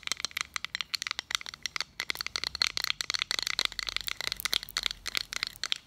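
Fingernails tap and scratch across the face and edge of a small round metal button badge. Dense, rapid, bright clicks and scratchy ticks follow one another throughout, each very short with almost no low end.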